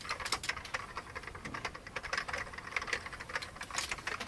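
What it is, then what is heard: Old plastic computer keyboard being typed on. Both hands type rapidly with their fingertips on an old beige plastic computer keyboard. A dense, steady stream of light, bright key clicks runs throughout, with each tap short and dry and almost no low end.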